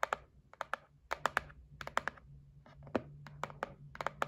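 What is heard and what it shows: Long nails tap and scratch a white printed cardboard gift box for a facial massage set, held flat. About 16 short, dry clicking taps fall in loose clusters, each cut off almost at once, with a papery midrange tone around 1.2 kHz. Faint scratching and a steady low hum fill the gaps.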